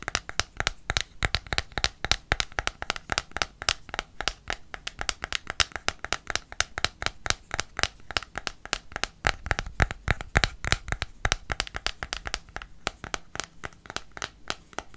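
A small pink, metallic-looking plastic cosmetic squeeze tube is held between the fingers and tapped rapidly with fingernails. The steady stream of quick, dry clicks is bright and crisp, with a light hollow knock underneath. Each tap dies away almost instantly.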